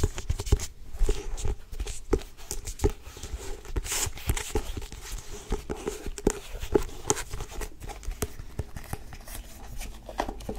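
Long nails tap and scratch the cover of a solid, medium blue-grey cloth-bound hardcover book. Quick, dry taps with a hollow tone around 400 Hz sound over a continuous scratchy rustle, with brief bright scraping streaks throughout.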